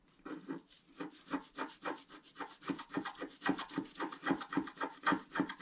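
A wooden stylus stick scratches a flat, black-coated scratch art paper sheet lying on a table. It makes about twenty-two short, dry, rasping strokes in a loose, uneven rhythm, each a quick scrape with a woody mid-range body and a bright papery hiss.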